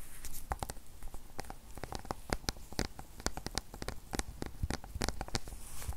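Long nails tap and scratch the silver aluminum back of an iPad 8th generation (2020) with the Apple logo, a thin, solid tablet about 25 cm tall held in both hands. Quick, sharp clicks with bright, short-lived transients rise over a soft scratching hiss, landing in rapid, irregular bursts throughout.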